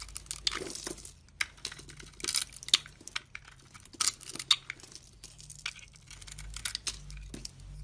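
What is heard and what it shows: A metal blade carves and scrapes a solid oval bar of blue and purple soap, with a dark glittery outer layer and a blue core, held in the hand. It makes crisp, bright scraping and crackling strokes at an uneven pace, with a few sharper cuts standing out.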